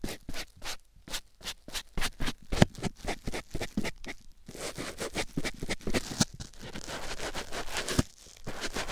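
A white foam sponge block, held in the fingers, is squeezed and rubbed against a silicone ear microphone. Quick, separate scratchy strokes come first, then after about four seconds they blur into denser, steadier rustling and scraping. A brief lull near the end is followed by more rubbing.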